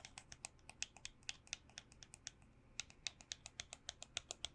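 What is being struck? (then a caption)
Plastic hand sanitizer bottle. A hand sanitizer bottle, received as a birthday gift, is tapped 29 times in quick, uneven succession over a few seconds. Each tap is a short, bright click that dies away almost instantly, with a light, crisp high-frequency tone and very little low end. The sound resembles soft keyboard typing, set against a quiet background.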